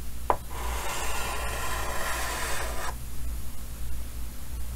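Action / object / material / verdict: scrape / chalk on a painted wooden-framed chalkboard / chalk / none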